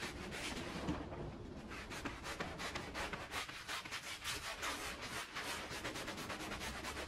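A bright patterned woven pile rug, muddy and dirty, lies flat on the floor, wet with suds, and is scrubbed with a handheld brush in strokes. Steady, rhythmic wet scrubbing and rubbing runs throughout, with a broad, bright, hissy texture and somewhat uneven stroke timing.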